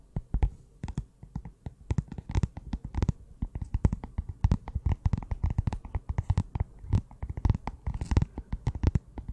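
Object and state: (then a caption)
Cardboard notebook cover. A closed small pink notebook with a cardboard cover is held in the hands while long nails tap and scratch across the cover. Dense, rapid dry taps and scraping scratches come in irregular bursts throughout, mostly low and thudding with quick decays and faint high scratchy edges.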